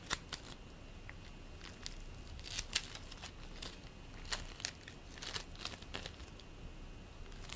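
Fingers knead and press purple play foam made of polystyrene beads into a lump, producing quiet, scattered crackles. Short, sharp, bright clicks and pops rise from a low, steady hiss, with a faint constant tone near 2.9 kHz underneath.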